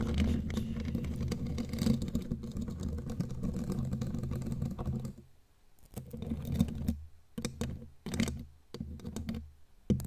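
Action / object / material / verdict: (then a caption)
tap / metal mesh microphone grille / metal / none. Long glittery claw nails tap rapidly on the bare black metal mesh grille of a studio microphone, giving dense, low, muffled tapping and scratching. It runs steadily for about five seconds, then breaks into short, separate bursts with quiet gaps.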